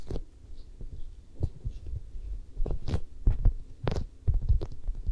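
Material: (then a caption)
Vinyl. Long manicured nails and fingertips of both hands scratch and rub across the side and cheek of a head-sized, hollow-looking soft vinyl or rubber mannequin head. The result is a series of dull, low, muffled thumps and soft rubbing scrapes with very little brightness, each stroke dying away almost immediately.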